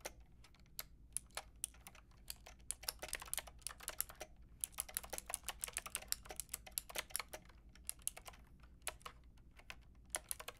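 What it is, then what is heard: Plastic mechanical keyboard being typed on. A white and pink Lofree mechanical keyboard with round plastic keycaps is typed on with long painted nails and fingertips. Sharp, bright clicky taps come in an irregular, steady stream with quick flurries, each tap dying away almost instantly over a faint low hum.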